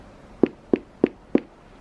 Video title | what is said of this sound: CHANEL REISSUE REVIEW, WEAR & TEAR AFTER 10 YEARS!! | part seems harder so if I knock on this you can hear it there's a difference